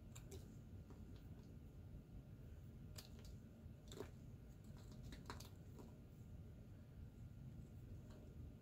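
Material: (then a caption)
Soap. A solid white Ivory bar soap, held in the hand, is shaved and cut with a metal pocket knife. Quiet, short, bright scraping and crackling ticks sound irregularly over a steady low rumble.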